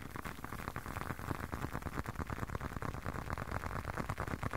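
Fingertips tap rapidly on the closed surface of a hand-sized blue leather long wallet held close to the microphone. The taps come as a quick, uneven stream of soft, dull thuds with a low, muffled body and almost no ring.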